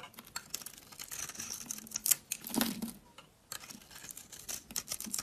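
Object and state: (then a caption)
Dry bar soap being shaved. A utility knife blade scrapes and shaves thin curls off the surface of a solid, round, green-and-pink bar of dry soap held in the hand. The result is a quiet run of dry, bright, crisp scraping and rasping strokes, with little low end, a brief pause near the middle, and then more shaving.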